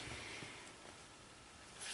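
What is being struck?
Nothing is struck.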